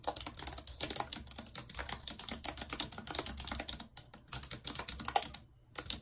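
Long red nails tap the keys of a white plastic computer keyboard while typing, making a rapid, steady stream of short, bright clicks and clacks. The typing breaks off briefly near the four-second mark and again just before the end, then resumes.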